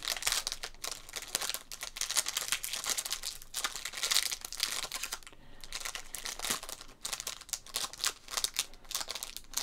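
Fingertips work the seal of a small clear plastic resealable zip bag holding a trading card above a wooden table, rubbing and crinkling the thin plastic. The sound is a dense, continuous run of bright, crisp crinkles and rustles with short sharp snaps and very little low end.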